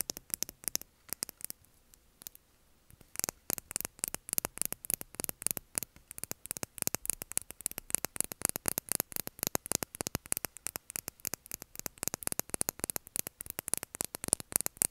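A small clear plastic lip gloss tube with a metallic cap, filled with gloss and held horizontally, is tapped rapidly with long nails. The taps come as dense, sharp, bright clicks that stop almost instantly, with a brief pause near the start, over a faint background hiss.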